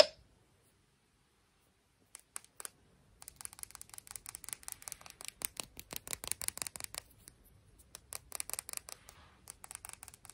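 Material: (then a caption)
Glass. A piece of sea glass is tapped and scratched in quick, close, quiet bursts. Brief clicks come first, then a dense run of sharp taps and scratchy strokes that pause and pick up again, bright with little low end and almost no ring.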